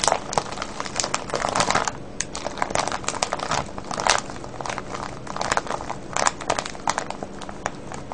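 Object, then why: Cellophane plastic bag of wrapped candies. Fingertips and nails crinkle and tap a full, clear plastic cellophane bag of wrapped candies. A dense, continuous crinkling with sharp, bright crackles and light taps runs through the whole clip, with louder bursts scattered throughout.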